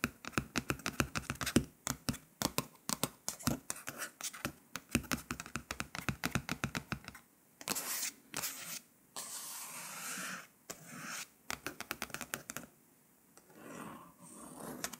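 Long pointed nails tap and scratch across the coated paper cover of a glossy Vogue magazine lying flat. For the first half there are rapid, dense, crisp clicking taps. Then come longer, bright, hissing scratch strokes mixed with sparser taps, and the taps die out quickly with almost no ring.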